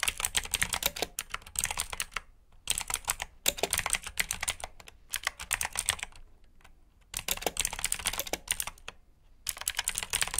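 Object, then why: Plastic mechanical keyboard. Fingertips type on a black plastic RGB mechanical keyboard with blue switches, producing rapid, bright, clicky keystrokes in bursts separated by short pauses. Each click is sharp and dies away almost instantly, with little low-end weight.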